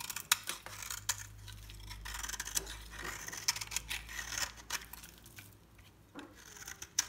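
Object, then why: Bar soap scraped with a metal knife. A solid, dry cream-colored soap bar with an orange edge is held in the palm and scraped and cut with a metal knife blade. Crisp, bright scraping and crumbly crackles are heard, punctuated by sharp, dry clicks as the blade bites in, with a faint low hum underneath during the first couple of seconds.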